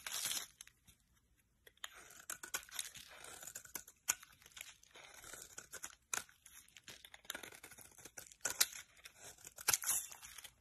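A solid white oval bar of soap with a pink glitter remnant is held in the hand and shaved with a metal utility-knife blade. Crisp, bright scraping and crinkly shaving strokes come in short bursts with brief pauses, and there is almost no low end.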